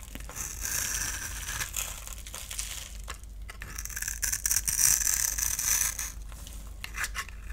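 A utility knife blade shaves and scrapes the surface of a solid oval orange bar of soap held in the palm, with dry shavings crumbling off. The sound is a dense, crisp, high-pitched scraping and crackling in irregular strokes, growing louder toward the middle before easing off.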